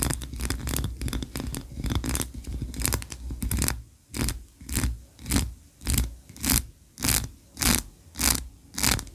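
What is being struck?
Ribbed wax candle.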